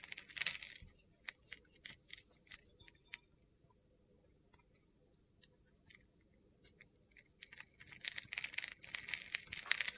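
A utility-knife blade carves and scrapes flakes off a hand-sized solid white soap bar with a silver glitter coating. Bright, gritty crunching bursts open the clip, then scattered sharp ticks and a near-silent stretch in the middle. Dense scraping returns at the end.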